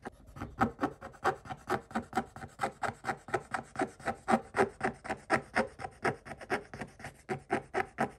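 A wooden stick held in a hand scrapes back and forth across the coating of a scratch-off coated paper page, on the same page as before. About thirty-four quick, rasping strokes come in a steady but slightly uneven rhythm, each a short dry scratch with a bright edge.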